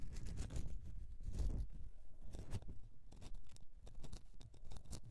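Long nails scratch the side of a solid bar of soap standing on its edge. The result is a quiet, irregular run of dry, crunchy scrapes, with deep rustling and occasional bright, short strokes.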